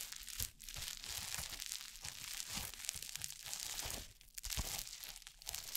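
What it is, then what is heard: Crunchy foam-bead slime (floam). Orange crunchy foam-bead slime (floam) is torn, kneaded and pressed by fingers with painted nails right beside the mic. It gives a dense, continuous stream of bright crackling, crunching and tearing sounds, with a brief quieter dip partway through.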